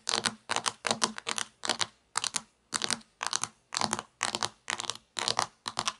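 Fingertips with long nails tap quickly on the textured plastic top of a sliced plastic toy pizza resting on a table. The tapping comes in short, rapid bursts of bright, dry clicks with very little low end, each flurry separated by brief pauses. The clicks die away almost instantly, with no ringing.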